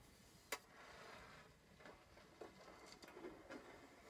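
Short painted fingernails and fingertips scratch and tap across the embossed closed lid of a small, hollow, decorated metal Crayola tin resting on a canvas panel. Five quick, bright metallic taps, the first the sharpest, are separated by soft, raspy scratching with a faint tinny ring near 2 kHz that dies away almost at once.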